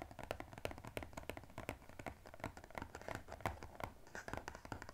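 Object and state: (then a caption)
Cardboard box. Fingernails rapidly tap and scratch the top edge of a small blue-and-white striped glossy cardboard box held in one hand. The result is a fast, uneven stream of crisp, dry clicks with a soft low thud beneath them and light scratchy rustling between the taps. Each tap dies away almost instantly.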